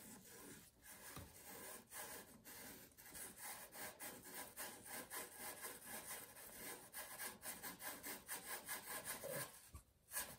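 A small square cube of blue billiard chalk, held between fingertips, is rubbed and twisted against the leather tip of a light-green cue over green felt. It makes a steady, rhythmic dry scraping and rubbing, with bright gritty hiss in the high frequencies and a brief sharper scuff near the end.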